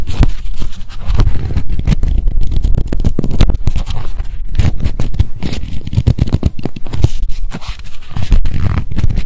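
A small pink spiral memo notebook is turned in the hands while long nails tap quickly on its cover and page edges. The result is a dense, continuous stream of fast, dull clicks and light scraping, heavy in the low end with short, crisp transients that fade almost instantly.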